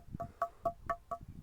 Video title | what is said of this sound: Siddhula Gutta Darshanam 🙏 - Mana Fun Temple Vlog #vlog #lordshiva | ఆ సౌండ్ వినారా అంటే రాయని కొడితే అట్లా సౌండ్ వస్తుంది